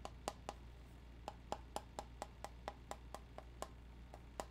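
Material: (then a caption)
Metal. A round, flat, hollow metal tobacco tin with a red printed lid is held in the hand and tapped on the lid and side with the fingertips and nails. Sixteen short, dry clicking taps ring around 800 Hz with a bright edge, each dying away almost instantly. They fall in a quick, uneven rhythm over a steady low hum.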